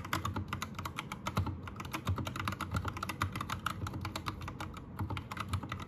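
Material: Plastic.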